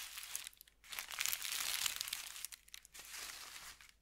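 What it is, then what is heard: Thin paper sheet, crinkled. A folded thin white paper sheet is rubbed with fingertips, lifted and crinkled, then pressed flat again. Bright, crackly crinkling rises and falls in bursts, broken by brief quiet gaps, with almost no low end.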